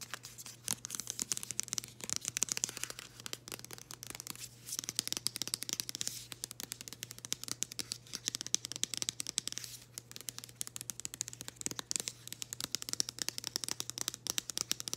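Long green acrylic nails scratch the surface of a flat, floral-printed cardboard package held in the hands. Dense, bright, crackly scratches and quick taps come in rapid bursts, with a faint steady low hum underneath.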